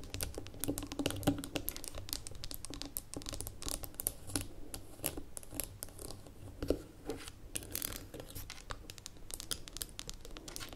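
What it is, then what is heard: Glass jar with metal lid. Long nails tap and scratch the gold metal lid and ridged rim of a small labeled amber glass jar standing on a table. Quick, dry clicks mix with bright, scratchy rasps in a steady, dense rhythm. Each tap stops at once with no ring, over a faint low hum.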